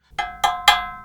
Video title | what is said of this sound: StruXure vs The Luxury Pergola: A Competitor's Honest Take | doesn't have anything separating the aluminum that's closing on top of the aluminum